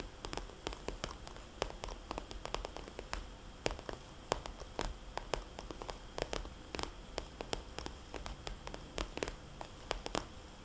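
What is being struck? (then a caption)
Glossy plastic cosmetics bag. Fingertips and long painted nails tap and scratch the surface of a small red glossy plastic cosmetics bag with white polka dots lying flat. Quick, sharp clicky taps that die away almost instantly are scattered irregularly over a soft, steady hiss and faint rustling scratches.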